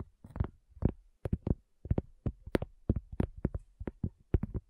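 Long fingernails of both hands tap a solid, round, flat cork coaster in a quick, uneven rhythm of about 18 taps. Each tap is a soft, dull, low-weighted knock with a brief clicky edge that stops almost at once, leaving short silences between the taps.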